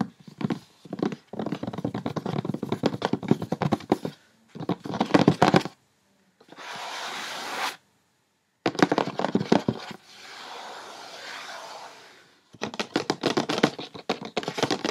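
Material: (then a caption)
Cardboard. A large white rectangular cardboard perfume gift box lies closed and flat, printed back side up, while both hands tap it fast with long red-painted fingernails. Bursts of rapid, dry, clicky tapping alternate with two stretches of steady soft scratching and brief silences.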